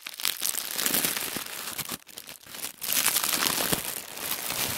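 Bare fingertips and palms rub and press a sheet of folded white tissue wrapping paper, the thin shoe-box kind, lying flat on a wooden table. The result is a dense, bright crinkling and rustling with almost no low end. It eases briefly around the two-second mark before swelling back up.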